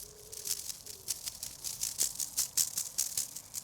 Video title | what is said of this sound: How to Collect Seeds - 17 Free Perennials for Next Year - Perennial Garden | you can actually hear the seeds rattling inside